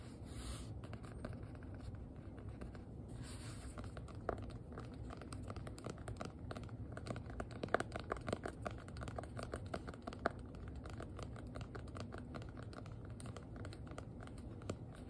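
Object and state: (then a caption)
Hardcover notebook tapped with nails. Long nails tap quickly on the faux-leather cover of a small, solid black hardcover notebook with an elastic band. The result is a quiet, steady patter of soft, dry clicks over a low background hiss, with a few sharper, louder taps standing out.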